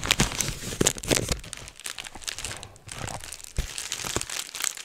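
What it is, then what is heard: Plastic bubble wrap. Fingertips pinch and pop the bubbles on a clear plastic bubble wrap sheet held close to the microphone. Dense, bright crinkling runs throughout, broken by sharp snapping pops with a little low thump under some of them, then a brief quieter lull before the crackling picks up again.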